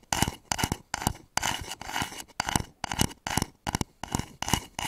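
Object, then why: Wooden bowl. Fingernails scratch and tap the outer surface of a hollow wooden bowl with grain lines, turned upside down over the microphone. Short, rhythmic bursts of dry, bright scratching are punctuated by sharp clicks and a hollow low thump. Each burst fades quickly with almost no ring.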